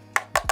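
Three taps on the plastic body of a small, lightweight (108 g) Weeylite S05 portable RGB LED light panel produce short, bright, hollow clicks with almost no ring. The housing sounds like plastic and a little hollow inside, like a toy.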